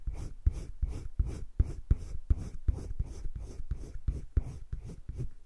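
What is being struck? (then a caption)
Colored pencil on sketchbook paper. A green wooden colored pencil shades the inner circle and the edges of a heart on a flat page of a spiral-bound paper sketchbook. About fifteen quick, evenly spaced scratchy rubbing strokes repeat in a steady rhythm, each a short, dry, low-heavy scrape with a faint airy hiss above it.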